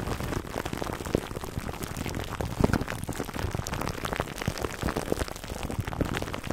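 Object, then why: Plastic cling wrap over foam microphone cover. Fingertips and short nails of both hands scratch clear plastic cling wrap stretched over a black foam microphone windscreen. The result is a steady, dense stream of crackling, crinkling scratches, with many short sharp ticks over a heavy low rumble.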